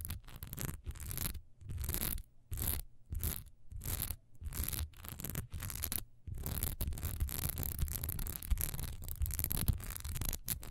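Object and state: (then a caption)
Wax pillar candle. Long almond-shaped nails quickly scratch the top edge and sides of a single solid cream wax pillar candle, about 15 cm tall, standing upright with a raised diamond texture. Short bursts of dry, rasping scratching are broken by brief silences, with a low rumble beneath and a bright hiss on top. Midway the scratching turns into a continuous fast scrape.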